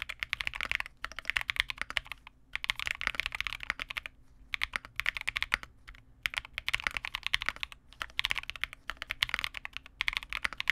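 A small 65% Vega65 custom mechanical keyboard with re-lubed Cobalt switches, white plastic keycaps and a dark case is typed on continuously with the fingertips of both hands. Rapid, bright plastic clacks centred around 2 kHz come in bursts separated by brief pauses. Each keystroke is dry and short with very little low end.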